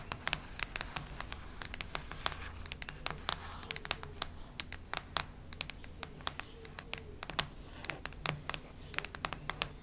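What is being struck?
Hardcover notebook cover.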